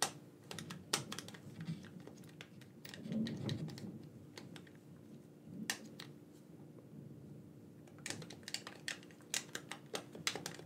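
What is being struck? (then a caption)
Plastic game controller buttons. A black wired plastic gamepad, hand-sized and hollow, is held in both hands while fingertips tap and click its buttons. Sharp, bright plastic clicks come in irregular bursts over a quiet low hum, with a few soft rustling handling sounds in between.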